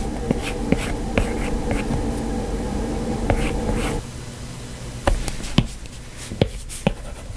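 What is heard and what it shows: A stylus with a plastic tip makes repeated short, scratchy strokes on an iPad glass touchscreen while sketching hair, each stroke a quick dry tick. A steady low hum sits under the strokes for the first four seconds, then drops away, leaving the taps and scratches over a quieter background.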